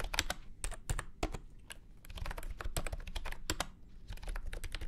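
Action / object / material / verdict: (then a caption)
tap / plastic keyboard with round keycaps / plastic / none. A full-size beige and orange plastic retro keyboard with round keycaps and a hollow body sits on a felt mat and is typed on with fingertips. The typing is quick and uneven, with sharp, bright clacks over a low, hollow thud from the body. Each keystroke dies away almost at once.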